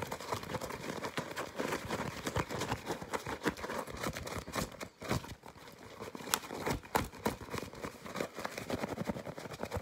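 A white disposable nonwoven fabric face mask with yellow straps is crumpled and scratched quickly with fingertips and nails. The result is a dense, fast stream of crinkly rustling and sharp, dry scratching clicks across a broad range, with a brief quieter moment around the halfway point.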